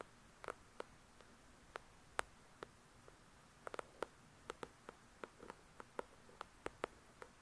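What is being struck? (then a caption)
Paperback book cover. Long nails tap and scratch on the cover of a paperback copy of "The Shack," making about twenty quiet, sharp clicks scattered irregularly over the clip. Each dry tick dies away almost at once, with a woody tone around 1.4 kHz and a bright edge, over near silence.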